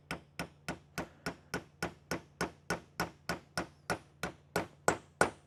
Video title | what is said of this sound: DIY Step by Step LS Valve Spring Install. | I'll just tap it on pretty easy you hear the tone change then your spring can go on